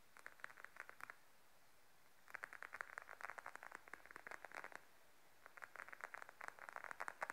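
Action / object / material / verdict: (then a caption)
tap / patent faux leather wallet / faux leather / none. Long nails tap and scratch the top of a beige glossy patent faux leather wallet lying flat on a table. Quick, dry clicking taps with a midrange tone come in three bursts separated by short pauses, with no ring after each tap. The result is a quiet, crisp, crackly patter.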